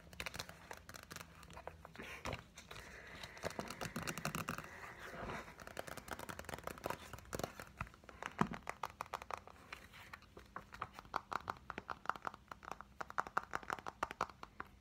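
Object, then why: Softcover book with card cover. Fingernails tap quickly and lightly on the glossy card front cover of a large softcover workbook, then on its spine edge. The taps come in dense, dry, clicky runs with a soft papery rustle between them, all quiet against a faint low hum.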